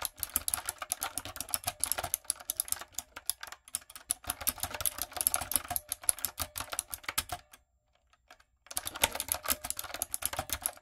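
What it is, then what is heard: Plastic mechanical keyboard being typed on. A backlit, hollow-bodied plastic typewriter-style mechanical keyboard with round retro plastic keycaps is typed on with long coffin nails and fingertips. The result is a fast, steady stream of bright, sharp clicks and clacks that stops briefly near the end before the typing picks up again.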